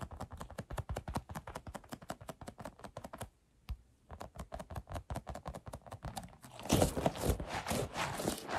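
A large, soft, hand-sized rubber stress ball with red and white mesh is squeezed while fingertips and nails scratch and press its surface. Quick, dry tapping and crackling sounds come in a rapid, uneven rhythm, stop for a brief pause, then resume. Near the end they turn into louder, denser, brighter scratching.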